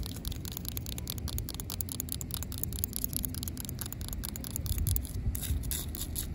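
Long pink acrylic nails tap and scratch the rough surface of solid, gritty, cracked asphalt pavement. A rapid, steady stream of short, bright clicks and scrapes rides over a constant low rumble, and each tap dies away almost instantly.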